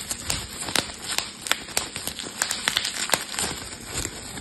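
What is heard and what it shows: A clear plastic bubble wrap sheet is handled and twisted with both hands, giving about fifteen sharp, bright pops over a constant crinkling rustle. Each snap is crisp and dies away almost instantly, with very little low end.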